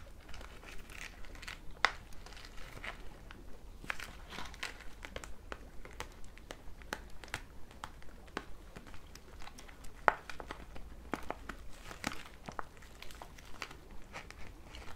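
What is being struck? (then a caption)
Thin plastic zip bag holding foam and plastic items. Fingertips with long red nails handle and squeeze a thin, transparent pink plastic zip bag holding foam toe separators and a plastic brush. Soft, continuous crinkling and crackling runs throughout, with two sharper clicks standing out near 2 and 10 seconds. A steady low hum sits underneath.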